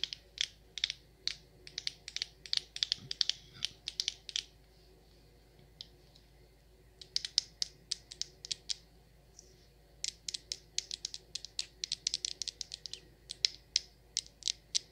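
Long acrylic nails tap and scratch on a medium frosted glass candle jar with a frosted glass lid, filled with cream-colored wax and held in the hand. Dozens of sharp, bright, high clicks come in quick bursts, with short pauses around 5–7 and 9–10 seconds. Each tap is very short, with almost no low end and no ring.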